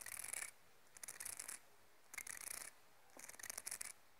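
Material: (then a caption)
Wood. Long nails scratch the spine and strum the teeth of a light wooden comb printed "How deep is your love?", held upright. Four short bursts of dry, bright, raspy scratching are heard, separated by brief pauses, with a dense crackly texture and no lingering ring.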